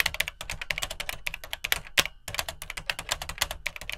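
Fingertips type rapidly on the dark plastic keycaps of an Atari 800XL home computer, a hollow plastic case. The result is a fast stream of bright, dry clicks with very short decay, and a brief pause just after the two-second mark before typing resumes.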